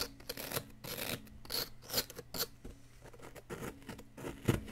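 A wooden stick digs and scrapes at a solid yellow plaster excavation block around the bar embedded in it. It makes a series of short, dry, rasping scrapes and gritty scratches with bright crumbly edges, over a faint steady low hum.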